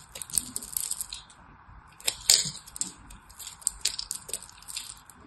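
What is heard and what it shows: A small knife cuts and scrapes the edges of a hand-held, solid orange-and-white striped soap bar. It makes a steady run of crisp, bright scratching and crackling bursts, with a few sharper flakes snapping off. The bursts are mostly high and thin, with almost no low end.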